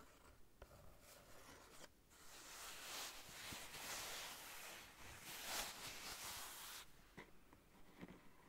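Fingernails scratch and rub a small, soft, light-blue fabric zip pouch with a flamingo print, hollow and holding contents, close to its zipper. The sound is a quiet, bright, dry scratching rustle that swells louder and denser through the middle and thins out at the start and end, where a few soft clicks stand out.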